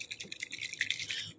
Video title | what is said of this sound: Alcohol ink art | shake this until you hear the ball rattle